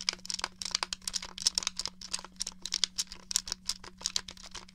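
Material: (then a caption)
Plastic. A hollow grey plastic N64 game controller is held up while fingernails tap its buttons and casing. About 25 quick, dry, bright clicks come in an uneven run with almost no ring, over a faint steady low hum.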